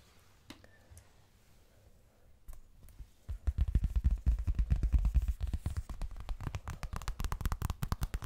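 A leopard-pattern pink toilet bag is tapped. After a few sparse, faint taps, fast, irregular tapping starts at about 3 seconds and keeps going, giving short, dull, low thuds with almost no ring.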